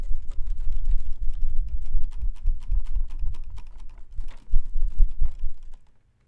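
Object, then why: Plastic-ribbed folding fan with fabric leaf. A white plastic-ribbed folding fan with a printed pleated fabric leaf is shaken and flicked quickly by hand, flapping and rattling its ribs. Rapid, irregular clicks and dry rattles come over soft, low whooshing thumps of moving air. The bursts rise and dip in loudness, then die away into silence just before the end.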